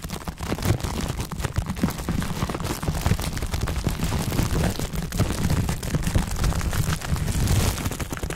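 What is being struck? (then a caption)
Plastic bubble wrap. A crumpled ball of clear plastic bubble wrap is held in both hands while the bubbles are pinched and popped with the fingertips. Dense, rapid, irregular pops and crackles overlap into a steady barrage with a heavy low-end thump beneath them, lasting the whole clip.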